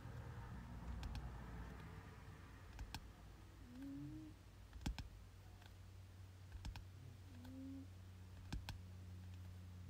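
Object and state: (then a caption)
Paperback textbook. Fingertips tap on the front cover of a glossy paperback biology textbook, a solid paper book resting on a bed, making sparse, soft, dry clicks that die away almost instantly. The taps sit over a steady low hum, with a couple of faint short rising tones in between, and the whole clip stays very quiet.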